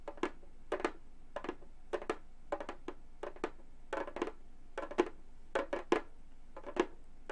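A hollow Remo frame drum with a synthetic skin head is tapped with gold metal claw nails on both hands. Quick clusters of short, dry clicking taps sound over a hollow resonance near 350 Hz, each dying away almost at once. The taps come in irregular bursts against a quiet background.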